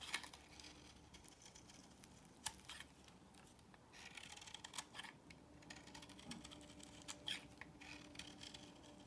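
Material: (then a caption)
Soap. A solid beige bar of soap, held in the hand, is shaved with a box cutter blade, making quiet, bright, dry scraping and crackling sounds. A few sharper clicks stand out near the start and around the two-and-a-half-second mark, with irregular bursts of shaving texture throughout.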